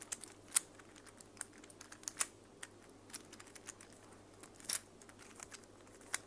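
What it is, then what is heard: Plastic infinity cube fidget toy clicking. A small mint and pink plastic infinity cube fidget toy made of hollow plastic blocks is folded and flipped by hand with long fake nails. It makes a quiet, steady run of short, bright plastic clicks and taps, with a few louder snaps standing out. Each click dies away almost instantly over a faint low hum.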